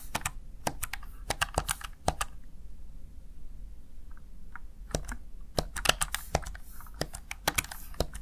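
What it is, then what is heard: Plastic gaming keypad. A small backlit plastic Razer Tartarus Chroma gaming keypad has its keys pressed with fingertips and nails, producing bursts of sharp, bright plastic clicks and clacks. The clicks come quickly at first, give way to a quieter stretch with only faint soft taps, then resume in another rapid run.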